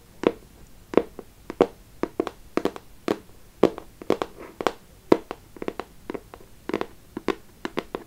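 A small, closed, hollow beige printed cardboard perfume box (212 VIP Rose) is tapped and scratched with long acrylic nails. The result is an irregular run of dry, hollow little taps with a papery midrange body and sharp, bright clicky edges, plus softer scratching between them. Each tap dies away almost instantly, with no ring.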